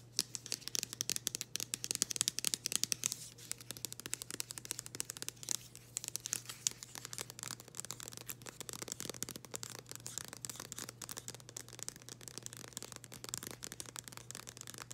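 Long green acrylic nails scratch and tap across the front of a thin, flexible, flat floral-printed cardboard package held in both hands. Rapid, crisp, bright clicks and scratchy rasps come in dense bursts over a steady faint low hum.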